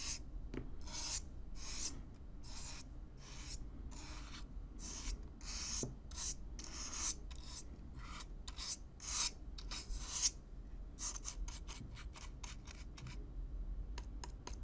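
A stiff black-bristle brush is brushed and scratched across the surface of a hollow brown corrugated cardboard box, recorded close up. Quick, bright rasping strokes repeat in a steady rhythm, each ending abruptly, over a constant low rumble.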